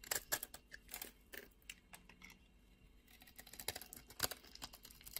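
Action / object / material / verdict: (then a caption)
scrape / bar of soap / soap / none. A utility knife blade scrapes and shaves the dry surface of a solid beige bar of soap held in the hand, peeling off thin curls. The sound is a quiet run of short, crisp, bright scraping strokes with little low end, coming in uneven bursts with brief near-silent gaps between them.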